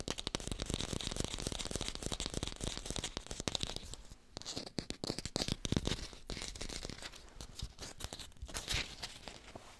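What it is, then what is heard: Fake green apple. Fingertips tap rapidly on an artificial green apple, recorded with a hi-fi microphone. The taps are dense, dry and clicky with a bright, crackly edge and no ring. They thin out and grow more uneven after about four seconds.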